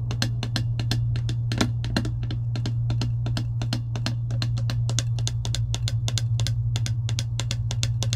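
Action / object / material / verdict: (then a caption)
tap / clear plastic tumbler lid tapped with long nails / plastic / none. Long acrylic nails tap and scratch across a clear plastic lid on a metal tumbler, making a rapid, steady stream of sharp, bright clicks with light scraping between them. A constant low hum sits underneath throughout.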